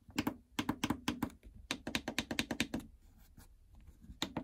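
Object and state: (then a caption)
Plastic treadmill control panel. Long fingernails and fingertips tap across the start, incline, speed and stop membrane buttons of a plastic treadmill console with a hollow housing. About nineteen quick, clicky taps come in two rapid runs, each with a short hollow thunk around the low mids and a bright edge. A stretch of soft scratching follows before a final pair of taps.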